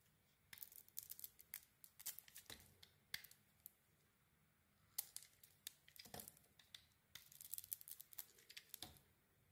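A metal blade shaves the coating off a solid red and silver striped bar of soap with a white core, held in the hand. Quiet, crisp, bright scraping and crinkling strokes come in three rapid clusters separated by short pauses. Each stroke ends almost instantly.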